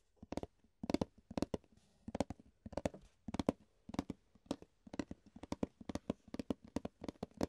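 An empty, hollow rectangular clear plastic food container is held upside down while fingertips tap and scratch its base and sides. The result is a quick, uneven run of quiet, dry, hollow taps with a low-mid tone near 260 Hz and almost no ring. Faint scratchy rustles fill the gaps between taps.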